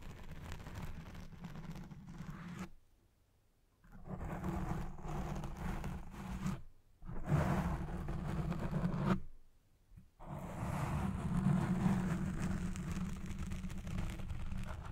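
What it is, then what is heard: Foam microphone windscreen being scratched. Long red nails and fingertips scratch the sides and lower edge of a black foam windscreen covering a Blue Yeti Pro microphone head. The result is a dense, muffled, low-heavy rasping and rubbing in long bursts. The bursts are broken by brief near-silent pauses.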